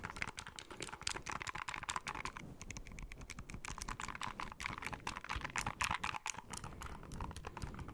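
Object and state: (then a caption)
Plastic handheld game console. Fingertips and nails tap and scratch the hollow plastic back shell of a small white plastic handheld game console, over its grip ridges, and press its shoulder buttons. The result is a quiet, fast, dense stream of short, dry clicks and scratchy taps with a bright, crisp top, much like rapid keyboard typing.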